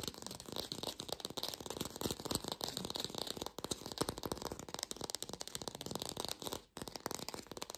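Long pink nails fast-tap an artificial lemon, probably plastic or foam, producing a dense, continuous stream of quick, dry, rattling clicks with a bright edge. The tapping briefly breaks off near the middle and again just before the end, then resumes.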